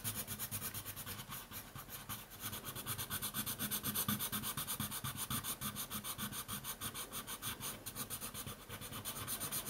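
A dark colored pencil is scratched back and forth quickly across a thin white paper coloring sheet lying flat on a wooden table to fill in an area. The result is a steady run of rapid, rhythmic scratching strokes with a bright, papery hiss and a faint low undertone.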